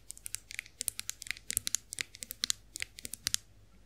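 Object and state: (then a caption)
Chrome face roller tapped with nails. Long acrylic nails tap and scratch the smooth handle of a chrome-finished face roller, making a quick, uneven run of sharp, bright clicks with light scraping between them. Each tap is dry and very short, with almost no low end and no ring.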